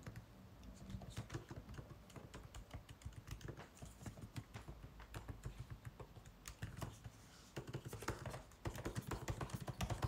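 White cotton-gloved fingertips type continuously on the plastic keys of a 16-inch MacBook Pro keyboard set in an aluminum body. The result is a quiet, steady stream of soft, short clicks and taps over a low hum, and the tapping grows busier and louder toward the end.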